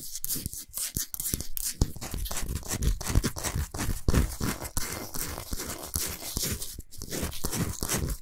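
Long nails scratch quickly across the surface of a large, flat, solid pink Himalayan salt block. The result is a fast, continuous stream of dry, gritty scrapes with a bright hiss on top and a dull low rumble underneath, each stroke cutting off sharply with no ring.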